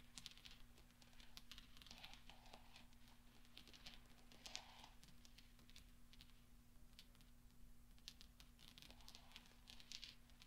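Fingertips roll and spread small solid steel pachinko balls scattered on black velvet. The result is a quiet, steady stream of light, bright clinks and soft rolling patter over a low, constant hum.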